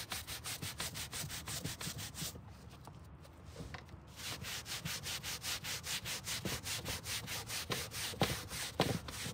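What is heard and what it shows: A gloved hand vigorously scrubs a foam-covered dark grey carpet car floor mat resting on a table with a green-bristled hand brush. Rapid, rhythmic back-and-forth strokes make a bright, bristly scratching hiss, with a brief softer stretch about a third of the way in before the steady scrubbing resumes.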